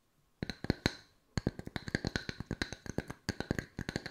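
Long white nails tap two solid round wood log-slice coasters in quick, crisp clicks. About two dozen dry, hollow knocks come in a short burst, a brief pause, and then a long irregular run, each with a soft low thump and a bright click that stops almost at once.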